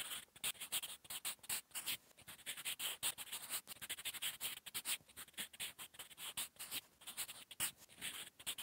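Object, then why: Graphite pencil on notebook paper. The graphite tip of a sharpened wooden 8B pencil, held in the fingers, writes quickly across a flat sheet of lined drawing-paper notebook resting on a solid surface. Quiet, bright, dry scratching strokes of handwriting come in rapid, uneven bursts with brief gaps between them. There is almost no low end, and each stroke stops dead without ringing.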